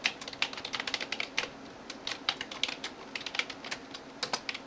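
A hand types rapidly on a backlit plastic computer keyboard with fingertips and nails, producing about 27 sharp, bright clicks in quick bursts. Each tap is short and dry with almost no ring and almost no low end, separated by brief pauses over a quiet background.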